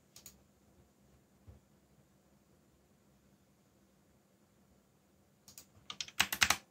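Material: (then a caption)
Plastic. Fingertips of both hands type on a backlit mechanical keyboard with black plastic keycaps. A few isolated clicks sound over a quiet stretch with a faint steady high tone, then a burst of rapid, bright, sharp clacks builds loudly at the end.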